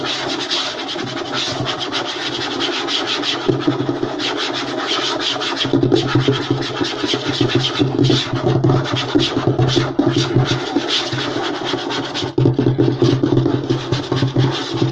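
Short nails and fingertips scratch and tap fast on a flat, light wooden tabletop. A dense, continuous rasping runs throughout, full of quick taps, with a woody body tone and steady low rumble. It grows louder and more aggressive in bursts from about 6 seconds and again after 12.5 seconds.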